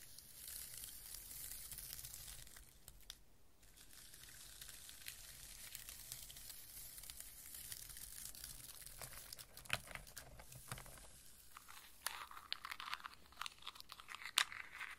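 Fingertips with long painted nails dig into, scoop and rub a pile of whole walnuts in their hard, hollow woody shells inside a round brown fibre or wooden bowl. A steady, bright rustling of shell against shell runs throughout, broken by sharp clacks that grow sparser and more distinct toward the end.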